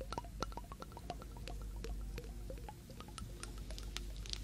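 A small, clear, hollow glass jar partly filled with water, with a blue metal screw lid, is held in the hands and tapped with long nails on the glass and the lid. Quick, dry clicks with a light glassy ping around 1.3 kHz and bright tips follow one another in a steady run over a low, constant rumble.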